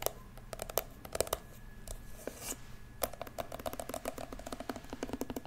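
Long pink acrylic nails tap and click on the glossy shell of a small, hollow, hard-shell turquoise metallic glasses case that has a cartoon cat face and a metal carry handle, held close to the microphone. Many quick, dry, hollow clicks come in uneven bursts, each dying away almost instantly, with a mid-pitched knock and bright ticks over a faint steady hum.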